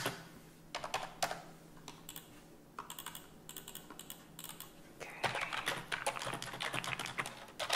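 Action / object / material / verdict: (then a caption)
tap / plastic computer keyboard / plastic / none. A white plastic desktop keyboard with hollow keys, resting on a desk, is typed on with both hands using fingertips and long nails. Sparse, bright plastic clicks and taps come first over a faint low hum, then turn into faster, denser typing for the last few seconds. Each click is short and dry, with almost no ring.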